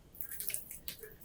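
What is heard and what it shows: The crust of a baked, cooled gluten-free sourdough loaf gives off a quick run of dry, crisp crackles with bright high-frequency snaps. The crackling shows a crisp, well-baked crust.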